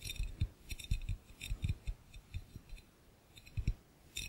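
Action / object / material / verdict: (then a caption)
tap / glass fishbowl / glass / none. Both hands tap and click fast with their fingertips on the base of an empty, hollow, clear glass fishbowl. The result is a quick, uneven run of soft, dull low thumps, each topped with a bright glassy click that dies away almost at once, with a brief lull near the middle.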